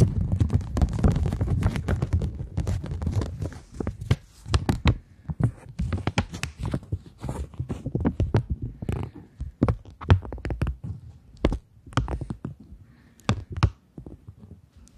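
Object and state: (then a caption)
Polymer banknote. Long nails tap and scratch a flat polymer plastic £20 banknote, then the note is curled and flexed. The result is a dense run of soft, dull taps and thumps with short, bright crinkling crackles that thin out into sparser snaps toward the end.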